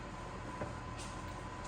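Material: Nothing is struck.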